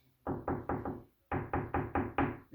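Knocks on the wall behind baseboard trim, checking for a solid spot to nail into while installing the trim. A group of four dull, low knocks, a short pause, then five more, with another just starting as the clip ends. The wall sounds solid there.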